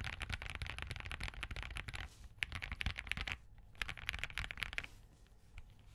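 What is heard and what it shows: Fingertips type repeatedly on a compact Spark67 mechanical keyboard with Crane switches, green and cream plastic keycaps, a POM plate and a hollow case. Fast runs of short, crisp key taps sound bright with a low thock underneath, broken by brief pauses. The typing thins out into softer, scattered taps at the end.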